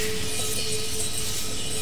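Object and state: Nothing is struck.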